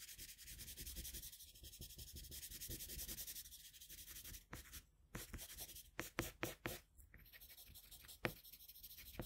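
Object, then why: Paper drawing sheet under a colored pencil. A colored pencil held in a metal extender rubs and shades across a flat sheet of drawing paper. Soft, steady scratchy strokes with a bright, grainy hiss repeat quickly, then a few sharper, louder strokes stand out in the second half of the clip.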